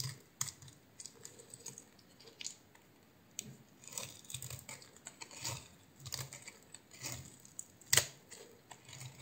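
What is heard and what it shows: A solid blue oval bar of soap with a white core is held in the hand, scored into a grid and cut with a utility knife blade. Quiet, bright, crisp scraping and clicking cuts come in a rapid, uneven series, with one sharper, louder snap near the end.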